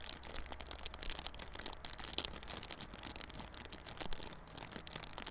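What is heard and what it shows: Fingers scratch and crinkle the clear plastic wrap on a small yellow cardboard Realme Buds Classic earphone box held on its side. The sound is a dense, steady run of bright, crackling scratches and crinkles over a faint low hum.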